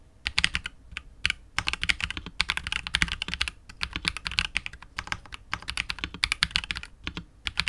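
A KBD67 Lite R2 65% mechanical keyboard with KTT Wine Red switches, PBT keycaps and a hollow, clear translucent polycarbonate case is typed on continuously with the fingertips of both hands. Rapid runs of short, bright, clacky keystrokes, with a light low thock under them, come in bursts separated by brief pauses, and each key dies away almost instantly.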